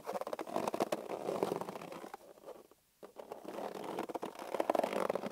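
A hollow, hand-sized green inflated latex balloon is held on a table while fingertips and palms squeeze and rub it. Squeaky, rumbling rubber friction with quick scratchy bursts centers in the midrange, drops to near silence for a moment partway through, then resumes.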